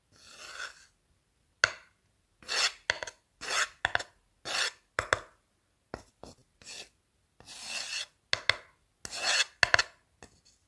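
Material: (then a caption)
Wood. The tip of a blue marker rubs and scratches along the surface near the end of a light, solid wooden board held in one hand. A series of short, dry, raspy scrapes and sharper scratches comes in separate bursts with silent gaps between them. The sound is bright and hissy with almost no low end.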